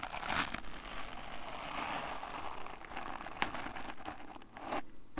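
A small brush with a wooden back and natural bristles is held in one hand while fingers scratch and rub across the bristles. The result is a steady, dry crinkling and scratching texture. It is broken by a few sharper bright clicks and brief quiet gaps.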